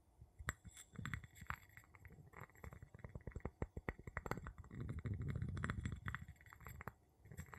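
The tip of a wooden pestle taps and rubs the bottom of an empty clear glass jar with a gold metal lid, which is held in the palm. Quick, irregular, dull clinks come in fast flurries, with a low, muffled rumbling scrape around the middle of the clip. The glass gives a short, dampened knock with almost no ringing.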